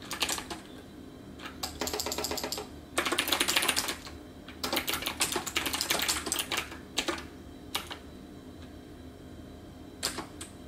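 Both hands type with their fingertips on a hollow-cased, backlit plastic computer keyboard with round plastic keycaps. Bright, clicky key taps come in uneven bursts of rapid typing, separated by short pauses and a few scattered single presses.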